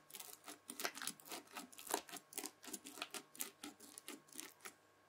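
A white plastic fork scratches through red bead-filled floam slime and folds it over, producing a quick, uneven series of crisp, bright crunching crackles. The bursts are short and dry with almost no low end, and they fade to quiet at the end.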